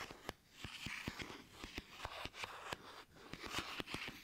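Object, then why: Plastic toy fruit. Plastic toy fruit is tapped, making a quick run of sharp, dry clicks that stop instantly with no ring. Between the taps, soft crinkly, scratchy handling noise stays mostly bright, with little low end.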